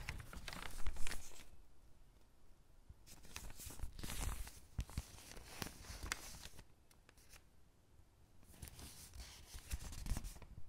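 Hands with long pink nails rub and smooth the crinkled pages of an open thin paper catalog lying on a table, then turn a page. Soft papery rustles and crinkles come in bursts of bright hiss, with louder swells near the start, in the middle and at the end, separated by quieter stretches of faint brushing.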